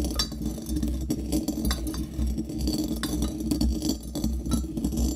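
A metal pestle pounds and scrapes inside a small hollow brass mortar that sits on a doily and is partly filled with coffee beans. The strikes come as rapid, overlapping clinks and rattles that ring briefly over a steady low hum, with the crunch of beans under the pestle.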